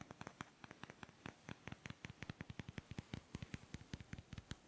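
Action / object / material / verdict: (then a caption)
knock / two small light-wood blocks / wood / none. Two small, solid, light-wood blocks held in both hands close up are knocked and rubbed against each other with the fingers. About 31 short, dry wooden taps land in an uneven rhythm, each a soft low thump with a bright click that dies away almost instantly, over a faint steady hiss.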